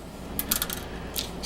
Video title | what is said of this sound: Crappy Taiwanese 5 Port Power Center NIB From the Late 90s | if i shake this ... can you guys hear that ... so yeah there is definitely something broken inside